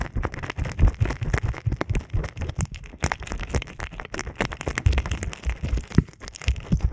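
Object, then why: Silicone ear model microphone rubbed by fingertips. Both index fingertips press and rub into the ear canals of a binaural microphone built as a pair of soft, solid silicone ear models on blocks, coated with oil or lotion. Dense, rapid wet squishing and crunching bursts follow one another throughout, with most of the energy deep and low.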